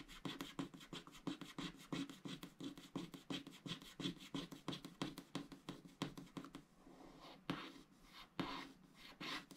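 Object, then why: Wax-coated scratch art card. A wooden stylus scratches the coating off a cactus shape on a black, wax-coated scratch art sticker sheet lying on a mat, while the other hand steadies the sheet. Quick, irregular scratching strokes rasp with a papery, mid-pitched grit and bright edges. After about two-thirds of the way through, they thin out into quieter, sparser scrapes.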